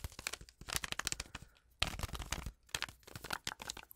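Long acrylic nails tap, scratch and crinkle a small, flat, sealed Twinings tea packet, a foil-lined paper sachet still full with its tea bag. Rapid, dry, bright crackles and sharp clicks come in dense bursts, broken by brief quieter pauses. Each tap dies away almost instantly.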